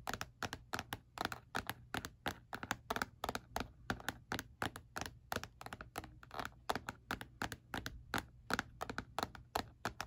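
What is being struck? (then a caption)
Plastic calculator casing. Fingertips tap on the textured back panel of a black hard plastic calculator lying face down, its casing hollow. About fifty short, dry, hollow clicks come in a quick, uneven rhythm, each dying almost instantly over a faint steady low hum.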